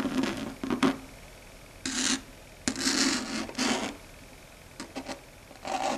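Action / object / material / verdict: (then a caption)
scrape / chalkboard surface scratched by fingernails / chalkboard / none. Long red stiletto nail tips scratch and tap across a flat, dark grey, matte, solid chalkboard. Short, dry, raspy strokes with a bright, hissy edge come in uneven bursts, mixed with quick, sharp taps and quiet pauses between them.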